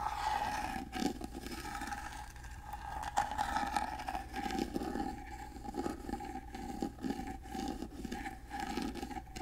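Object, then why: Carved wooden box. A gold-painted carved wooden box is held upright and scratched with fingernails over its carved relief pattern. The result is a steady, rough scratching texture in uneven bursts, with a faint sustained tone around 800 Hz running underneath.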